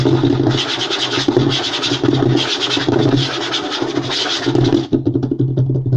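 Short fingernails and fingertips of both hands scratch and tap fast on a flat, light-colored wooden tabletop with a solid surface, possibly veneer. A dense, continuous scratching rasp comes in bright bursts over a low, woody thumping. After a brief dip near the end, the sound shifts to quicker, more distinct taps.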